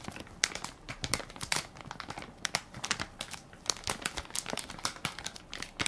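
Fingertips and nails press and crinkle the crinkly plastic film of a hand-sized Equate baby wipes soft pack, full of wipes and held in one palm. The result is a dense run of sharp, bright crackles and crinkles with very little low end, each snap dying away almost instantly with no ring.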